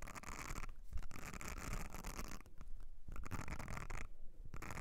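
Long nails scratch the nubbed texture of a thin, flat blue silicone makeup brush cleansing mat held on edge. The sound is a dense, rubbery scratching in bursts with short pauses, carrying a steady low rumble under a bright, crackly rasp.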